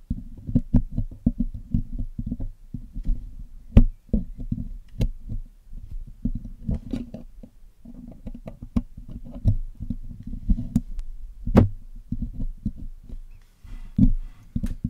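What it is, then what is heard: Metal microphone mesh grille being picked. A hollow black metal mesh microphone grille on a Blue Yeti microphone is picked and scraped with metal tweezers and a metal needle pick. The result is a dense run of low, muffled tapping and scratching with a tonal hum around 238 Hz, punctuated by occasional sharper clicks that flash briefly bright. Each hit dies away almost instantly, with very little ring.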